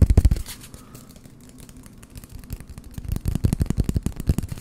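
An empty, hollow brown cardboard toilet paper roll is held near the microphones and tapped and scratched with fingertips. A burst of quick, dull, low thumps gives way to quieter scratching, then fast, dry tapping resumes through the end.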